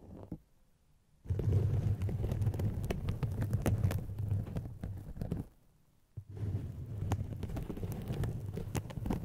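Two hollow, white polyethylene foam mesh fruit-protector sleeves stretched over microphones are scratched and squeezed with long painted fingernails. It makes a dense, muffled, low rumbling crackle with brighter scratchy ticks on top. Two long bursts of scratching are split by a brief quiet pause.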